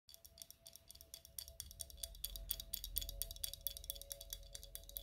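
A medium, hollow, apparently empty clear glass bottle is held in both hands and tapped and scratched with long red acrylic nails. The result is a quick, irregular run of short, bright clicking taps and scratchy strokes, with a glassy ring near 3.4 kHz. A faint steady tone and a low rumble sit underneath.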